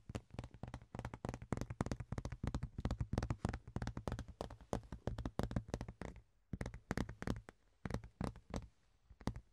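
A large, thin, ribbed rectangular clear plastic box lid is held and tapped and scratched with the fingertips and nails, making fast, irregular bursts of short, dry clicks and scrapes with a faint low hum underneath. The tapping is dense for the first six seconds, then breaks into sparser clusters separated by brief quiet gaps.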